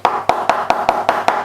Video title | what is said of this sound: How To Make Paper Samurai Armor and Destroy it!!!!! | Sounds like wood, yet you still got a bit of flexibility in